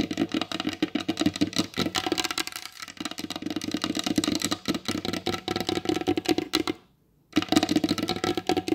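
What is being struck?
Varnished wooden table top.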